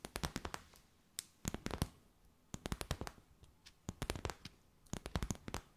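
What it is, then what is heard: Plastic bag. A clear, stiff, empty plastic bag with gold flecks is tapped and crinkled with long white nails. Quick clusters of sharp, crisp clicks and crackles spread from low thumps to a bright top. Short quiet pauses separate the clusters, and each tap dies away almost instantly.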